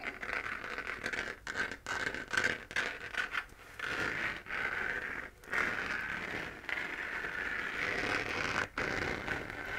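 Long painted nails scratch the crater texture of a hollow, pink-lit, 3D-printed plastic moon lamp. The result is a steady, dry scratching with a bright, raspy midrange around 1.5 kHz, broken by short pauses between strokes.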